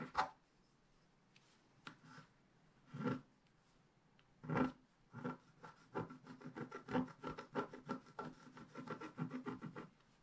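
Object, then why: Scratch-art paper sheet with wooden stylus. A wooden stylus scrapes the foliage area at the bottom of a flat, black-coated scratch-art page held by a hand. A few scattered dry scratches are followed by a quick run of short, rasping strokes, with little low end and a brief, clipped decay on each one.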